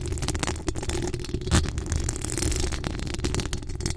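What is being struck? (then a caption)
Metal mesh microphone grille. Long acrylic nails scratch and tap the hollow metal mesh grille of a decorated USB microphone. The result is a continuous, dense, rattly scraping texture that is heavy in the low end, with short dry crackles and a louder thump partway through.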